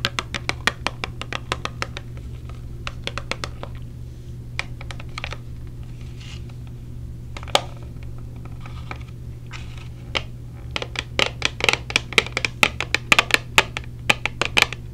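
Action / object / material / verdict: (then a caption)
tap / small clear plastic earplug case / plastic / none. Long nails tap a small clear plastic case of orange silicone earplugs, held in the hand and turned over to its printed label side. The result is quick, sharp, bright plastic clicks in uneven bursts over a steady low hum, sparser through the middle and denser toward the end.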